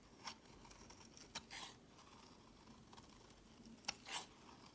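A utility knife blade shaves thin curling flakes off a solid pink bar of soap held in hand. Five short, bright scraping strokes rise from quiet background hiss, two of them a sharp crisp scrape followed by a softer, broader shave.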